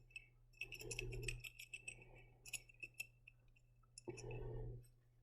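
A glass jar of glitter and confetti is shaken in short bursts, giving bright, tinkling clinks and rattles with a clear ringing tone near 2.6 kHz over a steady low hum. Between the bursts come a few sharper single clicks, and the contents swish softly against the glass. The glitter and confetti could fall out of the jar without a lid.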